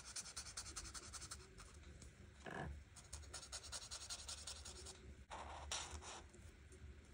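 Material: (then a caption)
Paper. A felt-tip marker is rubbed across a flat paper coloring book page in quick, writing-like strokes to fill in the leaves. Rapid, bright scratchy squeaks repeat steadily over a faint low rumble, with a few longer, louder strokes near the middle and toward the end.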